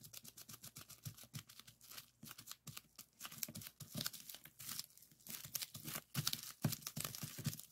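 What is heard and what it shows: A folded strip of clear plastic bubble wrap rests on a wooden table while fingertips press and pop its small air bubbles. A rapid run of sharp, bright pops and crinkling snaps fills the clip, each crack dying away almost instantly over a low, soft rustle.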